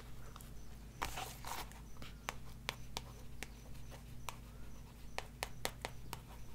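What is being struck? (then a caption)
Paperback book with card cover. Long nails tap and scratch the card cover and spine of a glossy paperback book, *Reiki Healing for Beginners*, with paper pages, held upright. About fourteen short, sharp clicks stand apart, mixed with brief scratchy rustles, over a steady low hum.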